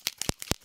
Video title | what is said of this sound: My October 2019 Makeup Favorites ~ Best in Beauty | when you shake this up you can hear that there's a ball rolling around in there